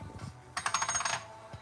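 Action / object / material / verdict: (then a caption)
strike / silver bullion coin / silver / real. A Silver Eagle silver bullion coin is ping tested and gives a bright, sustained metallic ring of about half a second, centred near 1.2 kHz with high overtones and a pulsing shimmer. The clear ring marks it as real silver.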